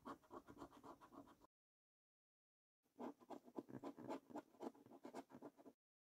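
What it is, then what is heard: Scratch card being scratched. A coin edge scrapes the latex coating off a thin paper scratch card resting on a wooden table. Quick, rhythmic, papery scraping strokes come in two bursts separated by about a second and a half of silence. The sound is quiet and dry, centered in the low-mids.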